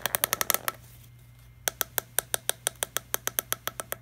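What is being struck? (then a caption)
Plastic water bottle. Fingertips tap and scratch the green screw cap and body of a small, empty, hollow clear PET plastic water bottle. About eight quick, bright, dry clicks come in a fast burst, then a pause, then about fifteen more evenly spaced taps. Each tap is sharp and dies away almost instantly over a faint steady low hum.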